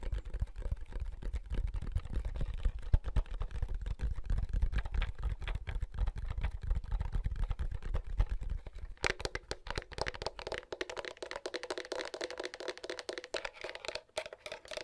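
Fingertips press the buttons and tap the casing of a large, hollow, black, wide plastic handheld game console held in both hands. The result is a rapid stream of short, dry clicks and taps. For the first nine seconds they carry a deep low thump, then they turn lighter and brighter in the midrange.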